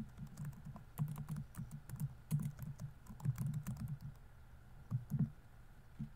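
Fingertips type fast on the plastic keys of a laptop keyboard, giving a quick run of soft, low clicks and taps with short bright ticks on top. The bursts come in uneven clusters, with brief pauses between them.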